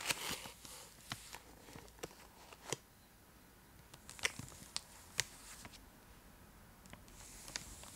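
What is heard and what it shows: Long acrylic nails scratch and tap a full, large purple Cadbury Dairy Milk chocolate block held in both hands, its foil-lined plastic wrapper giving off soft, bright crinkling and rustling. About ten sharp, crisp clicks stand out above the quieter, steady scratching, each fading almost instantly.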